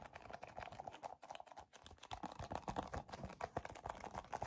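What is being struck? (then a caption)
Soft plastic squeeze tube. Fingertips and short nails grip and squeeze a white and yellow soft plastic cosmetic tube, about 15 cm long, hollow and filled with cream. The result is a quiet, steady stream of rapid, dry plastic clicks and crinkly taps centered in the midrange, each fading almost instantly, with a brief lull just before the two-second mark.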